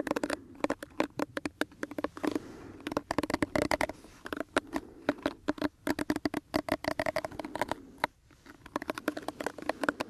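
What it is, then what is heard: Plastic hair brush. Fingertips and nails scratch and rub across the bristles of a small pink plastic detangling hairbrush held close to the microphone. The result is a rapid, uneven stream of dry, crisp clicks and scratchy flicks with a faint low tone around 290 Hz, and a brief pause near the end before the scratching resumes.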